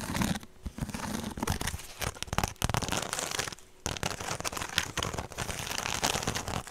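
A woven straw handbag is held up close to the mic and scratched and tapped with long nails. Dense, dry crackling and crinkling fills the clip, with sharp little taps and a bright, rustling texture. Two brief near-silent pauses break it up.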